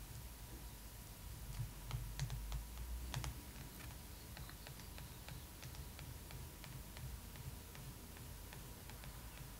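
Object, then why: Glossy paper magazine cover and metal pen tip. The tip of a metal pen, held in a hand with long nails, traces and taps across a glossy paper magazine cover. Quick, light, bright ticks come at an uneven pace with soft scratchy tracing between them. A steady low hum and a faint constant tone run underneath.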